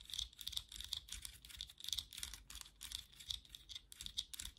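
Long nails tap and scratch across the back of a black plastic vented hairbrush lying back side up, its hollow slotted body rattling under the strokes. The sound is quiet and bright: rapid, dry clicks and scratchy bursts with almost no low end and a thin, steady ring around 3.4 kHz. The taps die away almost instantly.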